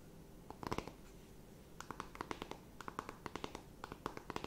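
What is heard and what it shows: Long nails scratch and tap a closed, flat rectangular cardboard eyeshadow palette. A brief cluster of taps is followed by a pause, then a steady run of short, crisp clicks with a bright edge over a soft scratching hiss. The overall sound is quiet and close.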